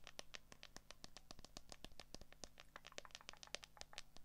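Long acrylic nails rapidly tap and scratch the back and camera area of a handheld smartphone, a solid flat device in a transparent plastic case with a cable plugged in. The result is a quiet, dense stream of sharp, dry, bright clicks with light scratchy texture, each dying instantly with no ring, over a faint steady low hum.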